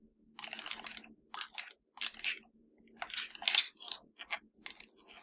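Long nails tap and scratch the shell of a hollow black plastic PS4 controller, making bursts of bright, crisp crunching and scraping separated by short pauses. The sound is almost entirely high-pitched, with a faint low hum underneath.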